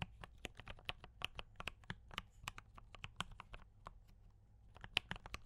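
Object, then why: Mechanical keyboard with plastic keycaps. Fingertips of both hands type continuously on a D84 mechanical keyboard with cream and red plastic keycaps, tactile brown switches and a foam-dampened case. About two dozen short, bright, dry clacks follow in an uneven rhythm with almost no ring, over a faint low rumble.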